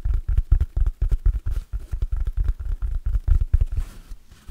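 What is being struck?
Synthetic foam sponge.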